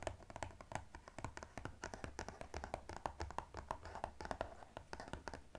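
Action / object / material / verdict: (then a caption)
tap / cardboard box / cardboard / none. Fingernails rapidly tap and scratch the surface of a blue-white striped cardboard gift box lying flat. The result is a quick, steady stream of dry, hollow taps with a mid-range tone, mixed with soft scratching and a faint low rumble. Each tap dies away almost at once.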